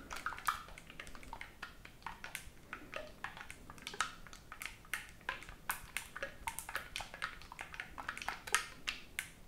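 Fingertips rapidly press and release the silver metal keys on a black oboe body held in both hands near the chest, without blowing into the hollow tube. A dense run of short, dry, bright key-clicking taps is heard, each dying away almost at once, with some louder clacks standing out.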